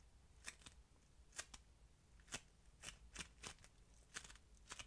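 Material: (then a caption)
Polystyrene beads. A single solid strand of yellow, crunchy polystyrene-bead modelling foam is squeezed and rolled between the fingers, then bent into a ring with both hands. It gives a quiet, steady series of short, bright crackles and crunches, spread irregularly over a soft, faint background.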